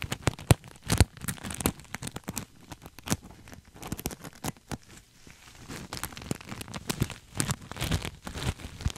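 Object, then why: Sequin-covered fabric pillow. A cream sequin throw pillow, soft and stuffed and hugged up against the mic, is scratched and rubbed with fingertips and nails. The result is a dense, irregular stream of crinkly scratching and rustling, with many sharp clicks and ticks. Soft low thumps run underneath, and bright crackle rides on top.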